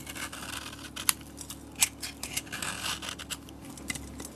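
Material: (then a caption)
Soap. A metal utility blade shaves thick curls off the edge of a solid soap bar with a yellow painted and glitter coating. The blade makes crisp, bright scraping and crackling sounds, broken by a few sharp clicks as the curls break away.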